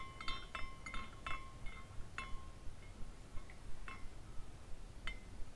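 A hand spins a small glass carousel figurine, and its glass horses swing and clink against each other. The result is a series of short, bright tinkling chimes with a clear ring around 1 kHz, repeating irregularly over a soft, low background rumble.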